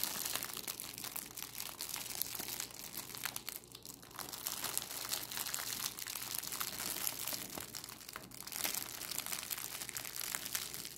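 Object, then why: Thin clear cellophane plastic bag. A thin, clear cellophane plastic bag is held in both hands and crumpled and crinkled between fingertips and long, decorated acrylic nails. The result is a dense, steady stream of bright, crackly crinkling lasting about 11 seconds, with a brief softer dip around the 4-second mark.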